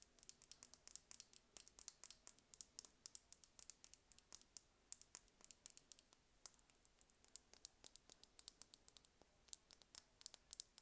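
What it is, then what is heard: Plastic lip gloss tube. A small, slim red plastic lip gloss tube with a gold cap, hollow with liquid inside, is held in the hands and tapped and scratched with long red-painted nails. Dozens of quiet, rapid, bright clicks and light scratches follow one another in an uneven stream, each dying away almost instantly with almost no low end.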